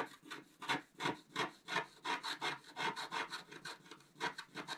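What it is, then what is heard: Scratch-art paper card being scratched. A wooden stylus scratches across a flat coated scratch-art paper sheet in a fairly steady series of short strokes, about three per second. Each stroke makes a dry, bright, raspy scrape centered near 1 kHz, with high hiss and almost no low end. Each stroke stops quickly with no ring.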